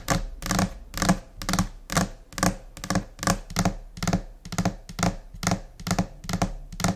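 Long nails and finger pads tap a flat, solid white laminate desk surface in a scattered, uneven rhythm of about 24 quick hits. Each tap is a short, dry thunk with a low body and a bright clicky edge from the nails, dying away almost at once.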